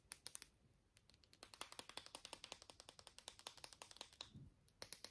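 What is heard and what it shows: A small, hollow pink and blue plastic lip balm stick is held in both hands and tapped with short nails and fingertips, giving about 40 quick, quiet, bright clicking taps in an uneven rhythm. Each tap is dry and dies away almost instantly, with a brief pause near the start and a few sharper taps at the end.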